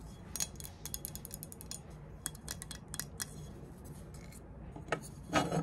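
A triangular aluminum rafter square, held upright and then lying flat, is scraped by long nails across its engraved ridges and tapped on its plate. A rapid series of light, bright ticks and short scrapes rises over a low, steady background hum. It ends with a louder, fuller scrape and tap.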